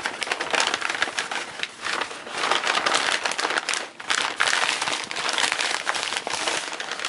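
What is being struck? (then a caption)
Kraft paper packing sheet. Fingertips and palms crumple, unfold and flatten a large, thin sheet of brown kraft packing paper lying crumpled on a bed. The result is dense, continuous crinkling and rustling, bright and crackly with almost no low end. It eases briefly a few times, most clearly just before the four-second mark, then surges back.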